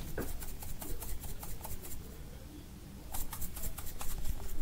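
A small, hollow green plastic prescription-style pill bottle with its cap is held in the hand close to the microphone and handled with the fingertips, tapping or shaking it. Quick, bright plastic clicks and taps come in an irregular patter over a low, steady rumble. The clicks fade out into a quieter stretch around the middle, then return louder toward the end.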